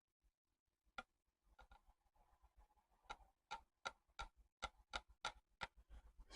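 A newly fitted clear glass panel in the balcony railing of a 1:12 scale miniature Art Deco house is tapped, since it can't be seen, to show that it is in place. A series of light, sharp, high ticks is heard, each dying away almost at once, with soft rustling between them. The panel is confirmed in place.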